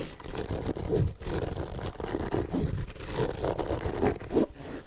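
Fingertips and nails scratch and tap the fabric shell of a closed, hollow black hard-shell EVA zipper case held close to the mic. Dense, muffled scratching rasps mix with soft low thuds, sitting mostly in the low and low-mid range with almost no high content. Louder tap bursts stand out near the one-second mark and around four and a half seconds.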